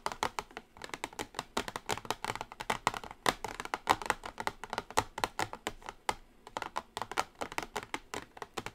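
Long acrylic nails tap quickly on the closed lid of a small, pink-edged cardboard Revolution NOW makeup palette box shaped like a cassette player. The result is a rapid, continuous stream of short, dry, clicky taps centered in the midrange, with little bass and no ring after each hit.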